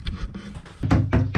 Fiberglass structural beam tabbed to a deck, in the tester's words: when you get the old hammer give it a tap you can hear that it's bouncing and it's not attached to the uh the deck anymore